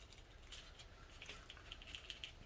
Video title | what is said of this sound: 2010 Chevrolet 4L60E Tear Down | you should hear that rattling around in there that lets you know that that is free and functioning